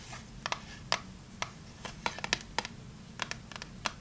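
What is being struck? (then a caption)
Small closed cardboard box. A small, closed, printed cardboard Fa soap box is tapped and scratched with long nails while being turned in the hands. Sharp, bright clicks and taps come in an irregular series over a soft, steady scratching hiss, each tap dying away almost at once.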